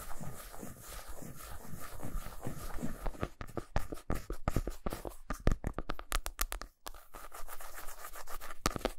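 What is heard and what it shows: Nail tips slowly scratch the flat back side of a solid milk chocolate bar resting on a towel, leaving visible shavings. A soft, continuous low scraping rustle gives way to a quick series of short, dry scratches with brief pauses before the steady scraping returns.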